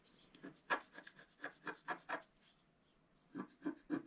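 A wooden stylus scratches a flat scratch art sheet of black-coated paper, held flat by the left hand. Short, dry, rasping strokes come in a quick, uneven run, then pause briefly before a few more strokes. Each scrape has a mid-range scratchy tone with a bright edge and stops almost at once.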